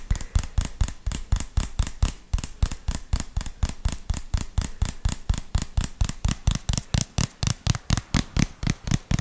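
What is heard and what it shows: A small white plastic jar with a red label is tapped with the fingertips on its sides and lid. About 38 quick, dull, hollow taps come in a steady but uneven run, each a short low thump with a faint bright click that stops almost at once.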